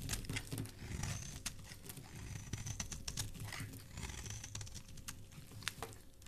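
A flat metal blade scrapes and shaves the surface of a solid, palm-sized lavender bar of soap held in a hand with dark painted nails, throwing off flaky soap curls. The sound is a quiet, steady run of soft crinkly scraping with quick, crisp ticks and bright hissy strokes over a low rumble.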